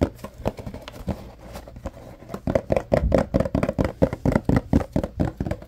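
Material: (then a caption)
Cardboard. Fingertips and nails tap and scratch a tall, rectangular yellow Arm & Hammer carpet deodorizer paperboard box, likely holding powder. Soft, scattered scratching gives way to quicker, louder taps with a hollow, boxy midrange tone. Each tap is dull and dies away almost at once.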